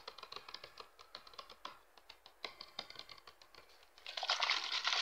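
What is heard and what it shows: Hands squeeze and crinkle a clear, hollow, mostly empty PET water bottle with a red cap while fingertips tap the thin plastic. The result is a rapid, uneven run of bright, crisp crinkling clicks. In the last second it swells into a louder, dense burst of continuous crackling.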